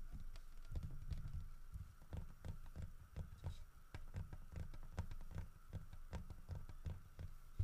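Fingertips tap and rub the sides of the head and body of a solid carved wooden bear statue. The result is a steady run of quick, dull, low-pitched taps that die away almost instantly, mixed with soft rubbing and a faint steady hum underneath.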